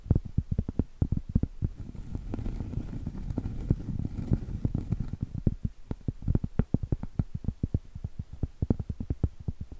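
A round, flat, solid cork board the size of a trivet or coaster is held horizontally and tapped and scratched with long stiletto acrylic nails. Quick, dull, low taps with almost no ring fall in rapid runs, giving way in the middle to denser, continuous scratching before the steady tapping returns.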